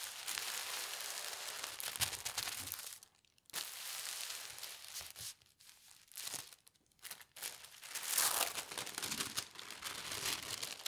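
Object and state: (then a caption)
Tissue paper sheet. A thin teal tissue paper sheet on a table is smoothed with the fingertips, then lifted at the edges and folded by hand. Bright, airy crinkling and rustling fill the clip, with little low end. The sound drops into brief near-silent pauses around three seconds and again between six and seven seconds.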